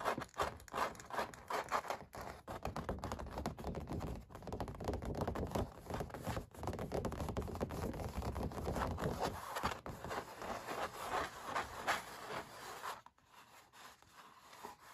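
Short dark nails scratch and tap the textured paint on a stretched canvas oil painting. The result is a dense run of dry, crackly scratches and soft taps, centered in the midrange with a low thumping body, each hit dying away almost at once. The sound drops to a quieter, thinner scratching near the end.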